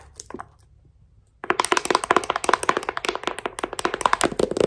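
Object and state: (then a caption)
Paperback book tapped with metal thimbles. A thick paperback novel with a glossy printed cover, held in one hand, is tapped on its cover and edge by fingertips wearing gold metal thimbles. After about a second and a half of near silence, a rapid, uneven run of sharp, dry clicking taps begins, with bright metallic ticks and a hollow midrange knock. Each tap dies away almost instantly.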